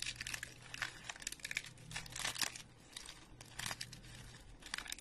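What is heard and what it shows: Thumbs and fingertips bend, snap and crumble thin, dry, speckled round soap chips over a pile of them. Bursts of bright, crisp crunching and crackling come and go, with short quieter gaps between them over a faint steady low hum.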